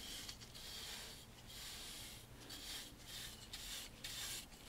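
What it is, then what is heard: Wooden picture frame being brushed. A wide bristle paint brush, held in a gloved hand, is brushed along the carved grooves of a large dark stained wooden picture frame around a painting. The result is a dry, scratchy, bright brushing sound in repeated strokes with short pauses between them.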